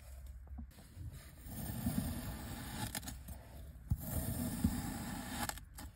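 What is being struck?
Kinetic sand dome cut with a knife.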